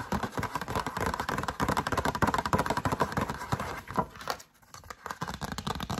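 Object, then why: Cardstock greeting card tapped with fingernails. Long acrylic nails rapidly tap and scratch a yellow cardstock greeting card held close, shown open and then closed. The result is a dense run of dry, papery clicks and scrapes with a mid-range body and little high sizzle. The sound briefly drops to near silence around the four-and-a-half-second mark before the tapping resumes.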